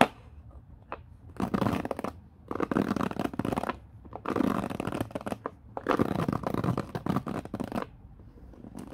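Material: Plastic.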